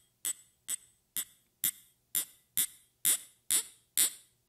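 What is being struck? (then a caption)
Small glass vial tapped with fingernails. Long red-painted fingernails tap a small clear glass vial or tube with a small metal ring hanging from it, held in the fingers. Nine bright, high-pitched clicks come at a steady, moderate pace. Each clink decays quickly, and the later taps grow slightly louder and brighter.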